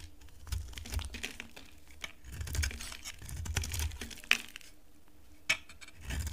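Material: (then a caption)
Soap. A solid pink oval bar of dry soap is scraped with a utility knife blade, peeling off thin flakes. Soft, dry scraping and crackling strokes come with a low rumble underneath. Two sharper, bright clicks stand out near the end.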